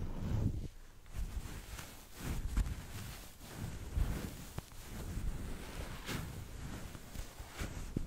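A small, fist-sized stuffed plush pineapple of striped green and orange felt-like fabric with a green leafy top, hollow and filled with stuffing, is held in both hands next to the microphone and rubbed and squeezed with the fingertips and long nails. The result is soft, muffled rustling and brushing, mostly low and dull, swelling and fading in gentle waves with a few slightly sharper scratchy touches.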